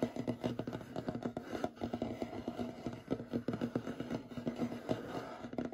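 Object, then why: Solid wooden table surface. Short fingernails scratch and rub quickly across a large, solid, light wooden tabletop. The result is a rapid, steady run of short, dry scraping strokes with a warm low-mid body and almost no bright edge, each stroke dying away almost instantly.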